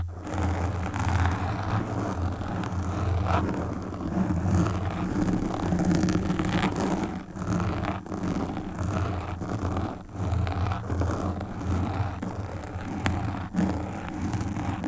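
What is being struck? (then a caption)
Foam microphone windscreen. Long pink nails scratch the sides and front of a black foam windscreen on a desktop microphone. The result is a steady, muffled rumbling scrape, heavy in the low end with little brightness, broken by brief dips as the nails shift across the foam.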